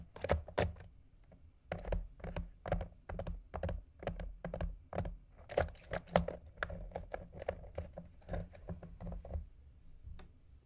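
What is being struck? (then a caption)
Round ice balls on ice cubes. Fingernails and fingertips tap quickly and repeatedly on two solid round ice balls resting on a container of ice cubes. Each tap is a short, dry click with a bright edge over a soft low thump, and the taps come in an uneven, rapid run.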